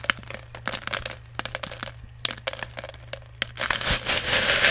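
Fingers dig into and stir small plastic airsoft BBs in a clear plastic jar that is partly full. Sharp, bright clicks and rattles come in irregular bursts over a faint low hum. The sound builds into a denser, continuous rattling rush at the end.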